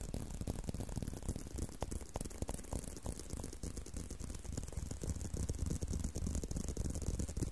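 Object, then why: Leather belt strap. Fingertips scratch and rub along the surface of a tan-brown leather belt strap held in a curve. The result is a steady, dry scratching and rustling with quick, uneven strokes about three per second. Most of the sound sits low and muffled, with a faint bright hiss above it.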